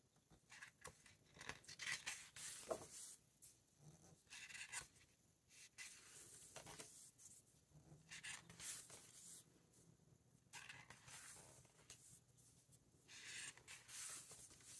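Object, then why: Hardcover book with matte paper pages. Both hands turn the matte paper pages of a large open hardcover book, with fingertips brushing across the paper. Soft, bright papery swishes and crisp rustles come in quick bursts between quiet gaps, with little low end and almost no ring.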